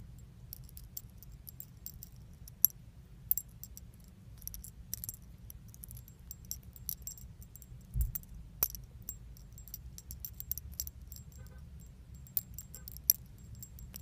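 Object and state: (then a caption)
Metal keychain with charms. A small metal chain keychain with pink leaf-shaped metal charms is held in the fingers and shaken, so the chain and charms jangle together. Bright, high, tinkling jingles come in scattered bursts over a quiet low hum, with a few sharper clicks standing out.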